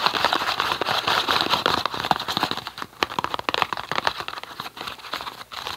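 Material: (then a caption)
Cardboard. A small, hollow, green printed cardboard tea box is turned in the hands while fingertips and nails tap and scratch its surface. The result is a dense, bright stream of dry scratching and crinkling with quick, irregular light taps and almost no low end.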